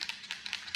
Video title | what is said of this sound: How to efficiently install and remove bonded windows for marine vessels [FULL VIDEO] | We shake it up till you hear it rattle, and then a couple of minutes.